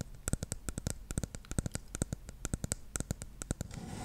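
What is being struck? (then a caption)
Plastic shampoo bottle with cap. Long nails tap the top of the silver cap and the body of a dark plastic shampoo bottle in a quick, uneven run of short, crisp taps. Each tap pairs a soft, low knock with a bright click and dies away almost at once. The tapping stops near the end, leaving a faint rising hiss.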